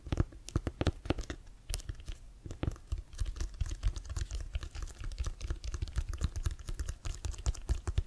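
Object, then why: Leather-covered American football. Fingernails scratch and tap the laces and pebbled cover of a brown, hollow, inflated leather-covered American football held in both hands with the laces up. A rapid, uneven stream of dull, hollow low thumps and soft scratchy clicks runs throughout, each tap dying away almost instantly.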